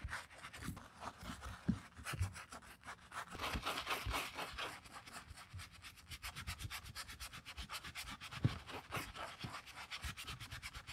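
A wooden-handled bristle brush scrubs the soap-foamed, suede-covered cork footbed of a Birkenstock sandal held in hand, using quick back-and-forth strokes. It makes a steady run of soft, wet, bright rubbing swishes, each stroke short with no ring, plus a low rumble underneath.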